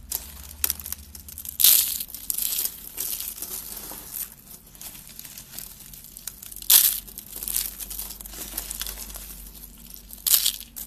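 Thin shaved strips of dry tan soap from a stacked solid block are crushed and crumbled between fingertips with long red nails, the flakes falling onto a pile. Bright, dry crunching and crinkling runs throughout, with louder crumbling bursts near the start, the middle and the end.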